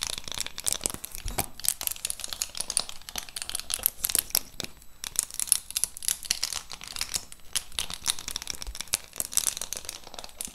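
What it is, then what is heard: Plastic lid of a lip gloss box scratched with nails. Long pink acrylic nails scratch and tap across the clear plastic lid of a large, flat, cardboard-framed lip gloss set holding rows of gloss tubes, held up beside the mic. The result is a dense run of crinkly, bright scratching and quick tapping with no ring, steady and quiet throughout.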